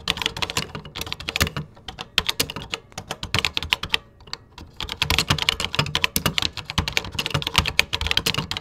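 Fingertips type steadily on a vintage 1980s computer keyboard with cream plastic keycaps, producing rapid, bright plastic clicks with a low thud under each keystroke. The typing comes in quick bursts with brief pauses near two and four seconds. Each click dies away almost instantly.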